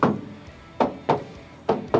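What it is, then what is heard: Solid steel car body panel without filler. Knuckle knocks on a steel body panel of a classic car, with five sharp, bright metallic raps that each ring briefly around a mid pitch. The clear, unmuffled ring indicates an original or new steel panel without body filler.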